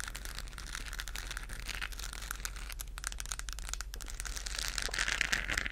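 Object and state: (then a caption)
Textured plastic globe lamp scratched with nails. A hollow, textured plastic galaxy moon lamp, lit up and held in both hands, is scratched with long nails. The result is a continuous, uneven crinkly scratching with bright, hissy highs over a low rumble, growing slightly louder toward the end.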